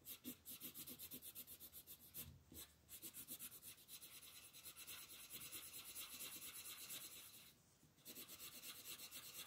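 A red wooden colored pencil is rubbed in steady, rapid strokes across a flat paper coloring book page as a crab is colored in. The clip is a quiet, bright, scratchy rasping, stroke after stroke, with brief pauses near 2.5 and 7.7 seconds before the strokes resume.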